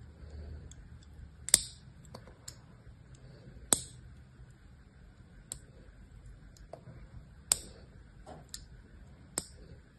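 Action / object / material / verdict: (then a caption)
scrape / bar of soap scored with a metal blade / soap / none. A solid rectangular green bar of soap embossed "PURE" is held in one hand while the metal blade of a small knife or cutter scores and scratches its surface in a grid. Seven sharp, bright clicking scrapes come at irregular intervals over a quiet low background hum, each cut snapping off almost instantly with no ring.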